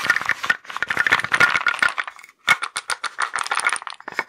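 A small wooden box with wooden blocks inside is held in the hands and shaken, so the blocks rattle. Rapid, dry clacks come in dense bursts with a bright tone, no low end and almost no ring, then stop for a brief pause before the shaking resumes.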